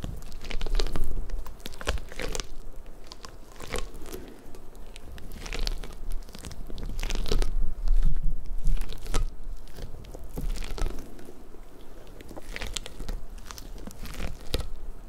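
Long nails scratch and pluck the soft rubber spikes of a large, hollow, pink rubber puffer ball. The result is a dense, irregular run of crackly, crunchy taps and rasps with bright clicks, plus a low rumble underneath.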